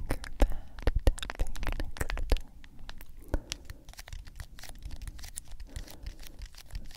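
A medium cylindrical G Fuel plastic powder tub with a printed label is tapped and scratched with long acrylic nails. Quick, sharp, irregular taps with bright clicky tops and a dull hollow thump come first, then the sound drops to quieter, continuous scratching and crinkly rubbing across the label.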